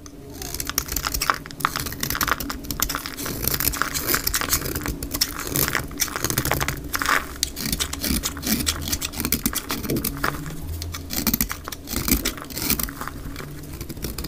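A dry, solid oval green bar of soap held in the palm is scraped and shaved into flakes by a snap-off utility knife blade pushed with the fingertips. The audio is sped up twice, giving a dense run of quick, bright, crackly scrapes over a steady low rumble.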